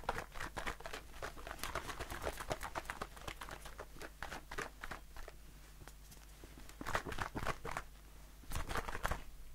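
A blue aluminium aerosol shaving foam can, held in the hand, is tapped with fingertips and short nails. Rapid, irregular, light taps and clicks fall several times a second; each is short, dry and bright with almost no ring. A faint low steady hum runs underneath, and the taps swell into louder bursts near the seventh and ninth seconds.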